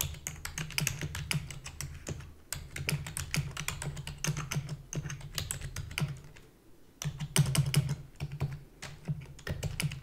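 Long fingernails and fingertips type rapidly on a full-size black plastic keyboard with a hollow body, making a dense stream of sharp, bright clicks over a steady low hum. The typing eases briefly around 2.5 seconds, thins and quiets near 6.5 seconds, then bursts back louder at 7 seconds. One hand lifts at the end.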